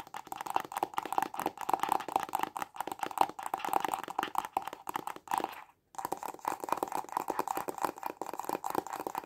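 Short fingernails and fingertips tap fast on a small, hollow, white printed cardboard stylus pen box held in both hands. The result is a dense run of quick, dry, hollow taps with a mid-pitched papery resonance. The taps stop for a brief silent pause just before the six-second mark, then continue at the same pace.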